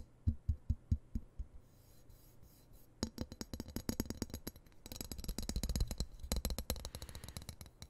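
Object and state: Steel knife blade.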